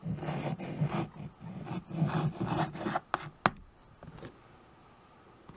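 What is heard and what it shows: A white chalk stick writes and scratches across a small tabletop chalkboard, a dark painted board in a wood-look frame, making about three seconds of rough, raspy rubbing strokes with a low, gritty body. The writing ends with two sharp, short taps of chalk on the board, then fades into near silence with a few faint scuffs.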